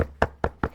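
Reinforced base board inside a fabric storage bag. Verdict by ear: Solid.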